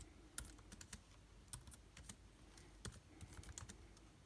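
Fingertips of both hands type on a backlit MacBook Air laptop keyboard with plastic keys. The result is a quick, uneven run of short, dry clicks and taps with bright edges and little ring, set over a faint low hum.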